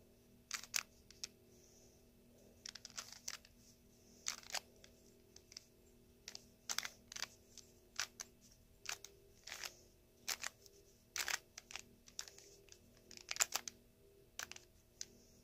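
A small solid plastic 2x2 Rubik's-style puzzle cube with colored stickers is held in both hands and its layers are twisted with the fingertips. This makes quiet, bright plastic clicking and scraping in short bursts over a low, steady hum. Each click stops sharply with no ring.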